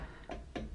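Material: Steel.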